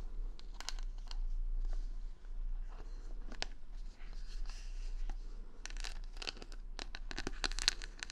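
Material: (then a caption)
Plastic. Long nails scratch and tap across the plastic rhinestone stickers covering the back of a wooden paddle hair brush with a handle, held close against the mic. The result is a run of bright, crisp clicks and scratchy crinkles over a steady low hum, with denser, sharper scratching toward the end.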